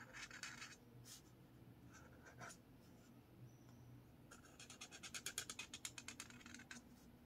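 A blue marker tip is drawn across a lined paper spiral notepad resting on a table, making soft, bright scratching strokes. Scattered longer scrapes come first, then a rapid run of short, quick strokes near the end, all quiet against a low background hum.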